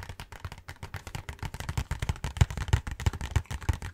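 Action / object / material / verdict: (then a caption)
tap / cardboard snack box / cardboard / none. A cardboard Hanuta snack box, held close to the face, is tapped and scratched rapidly with fingertips and nails. The result is a quick, uneven run of short crackling hits, each with a soft, low thump and very little ring, layered over a faint papery scratch.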